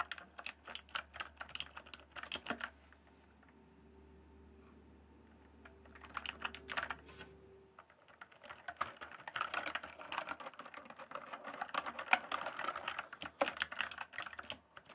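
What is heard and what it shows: Fingertips type on the keys of a full-size, backlit plastic RGB computer keyboard, producing sharp, bright clicks and clacks. A burst of typing at the start gives way to a quieter stretch with a faint steady hum and a low tone, then a few keystrokes, and the typing resumes as a denser, faster run to the end.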